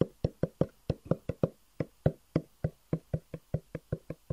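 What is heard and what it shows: A long, hollow black cardboard box with white edges, held upright, is tapped and knocked with the fingertips. Twenty short, dull, low knocks come in an uneven rhythm, each dying away almost at once with no ring.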